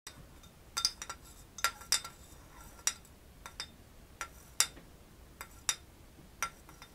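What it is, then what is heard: Ceramic coffee mug stirred with a spoon. A small metal spoon stirs a dark drink in a hollow, cream-colored ceramic coffee mug held in one hand, clinking against the mug's inner wall. The result is a string of separate, bright, high clinks with very short ring, spaced irregularly over a quiet background.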